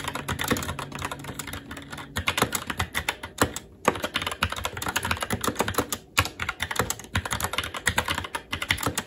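Fingertips of both hands type continuously on a SteelSeries Apex 7 TKL mechanical keyboard with red linear switches, plastic keycaps and a metal top plate. A rapid, steady stream of short, clacky keystrokes with bright, crisp tops dies away almost instantly, with occasional louder strikes and brief lulls near 3.7 and 6.1 seconds.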